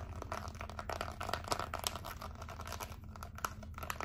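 Long acrylic nails tap and scratch over a small, flat, white plastic LED remote control with colorful rubber buttons. The result is a dense, continuous run of quick, dry clicks and crinkly scratches with bright edges, over a steady low hum.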